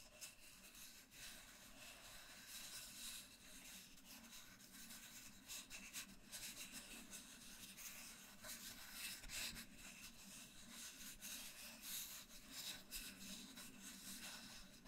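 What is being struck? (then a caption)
Cardboard mailing tube. Fingertips rub slowly along the surface of a long, hollow, empty brown cardboard mailing tube held in both hands close to the mic. The result is a soft, continuous, breathy scratching with bright friction texture and a faint hollow low resonance underneath, swelling gently in loudness for the whole clip.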